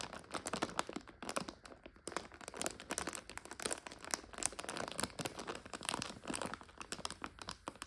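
Long nails squeeze and scratch a full, clear 400 g plastic bag of dry egg noodles with a blue label. Dense, rapid crinkling and crackling, bright and crisp, runs continuously with many quick bursts and brief pauses, with almost no low end.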